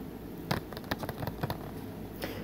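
Fingertips tap and grip along the surface of a hollow plastic Blu-ray movie case with a printed back cover, held overhead in one hand. Short, dry, hollow taps with crisp bright edges sound at uneven intervals over a low, steady background hum.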